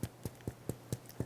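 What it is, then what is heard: Hollow-sounding bread loaf, baked through. Knuckles tap six times on the bottom crust of a cooled no-knead artisan boule, each a short, dull, low thud that dies away almost instantly. The loaf sounds somewhat hollow, showing the bread is baked through.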